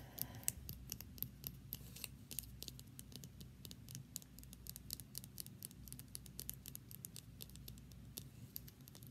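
A small hollow plastic lip balm tube with a red cap and a white labeled body is held in the hands and tapped and scratched with long painted nails. A steady stream of sharp, dry, high clicks and light scratches runs over a low, quiet background rumble.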